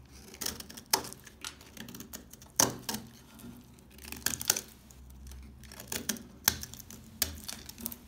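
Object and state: Dry household soap bar.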